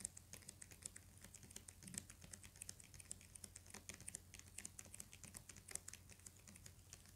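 Fingernails tap rapidly on the cover of a thick hardcover book with a paper jacket. The taps are quick, dry and bright, each dying away almost instantly. They run as a dense, uneven patter over a quiet, steady low hum.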